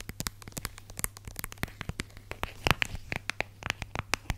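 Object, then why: Plastic squeeze tube. Long red nails rapidly tap and scratch the surface of a small red and white plastic squeeze tube of hand lotion, which is hollow and partly full. The result is a quick run of dry, crackly clicks with scraping between them. A few brighter, hollow plastic taps stand out in the second half over a faint low hum.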